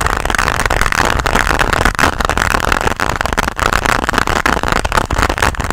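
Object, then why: Hard plastic pencil case. A flat, hard pink plastic pencil case, held close to the mic, is tapped and scratched with long nails. A steady, dense scratching texture fills the clip, centered in the midrange and dotted with rapid sharp clicks from the nail taps. Faint low rumble sits underneath throughout.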